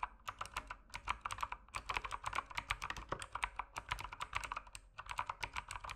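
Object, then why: Mechanical keyboard with plastic keycaps. Fingertips type continuously on the plastic keycaps of an RGB mechanical keyboard, producing dozens of rapid, quiet keystrokes. Each keystroke is a short, crisp clack centered around 1 kHz with a brighter high click and almost no ring, arriving in an uneven, steady typing rhythm.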